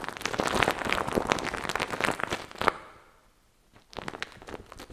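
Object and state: Fuzzy microphone windscreen being scratched.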